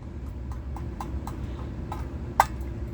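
A series of light metallic taps on the tender of a Lionel Scout No. 110 O-gauge locomotive, then one harder, brighter tap, each a short, high ping with almost no ring over a low background rumble. The thin, tinny sound shows the tender is tinplate metal, though the engine itself was not fully tinplate.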